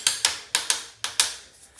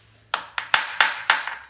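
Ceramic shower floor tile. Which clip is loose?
The second.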